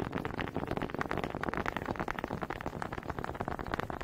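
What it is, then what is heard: Wooden honey dippers knocked together. Two small solid wooden honey dippers with grooved heads, held in both hands with long red nails, are knocked and rubbed together close to the mic. The result is a dense, uneven stream of quick, dry wooden clicks and scraping rattles that die away almost instantly, centered in the midrange around 1.3 kHz with little high-end brightness.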